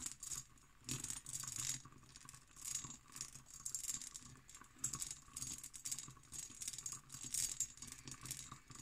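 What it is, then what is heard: Cut glass decanter, tapped and scratched. Long nails tap and scratch the textured body of an empty hobnail cut glass decanter. The result is quiet, bright, rattly bursts of scratching and clicking with very short ring and little low end.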